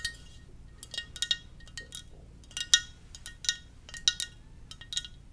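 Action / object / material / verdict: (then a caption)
tap / ceramic mug / ceramic / none. Fingernails tap irregularly on a hollow, glossy black ceramic mug shaped like a Darth Vader helmet, held in the hand. About twelve bright, high-pitched clicks are heard, each with a brief chiming ring that dies away quickly.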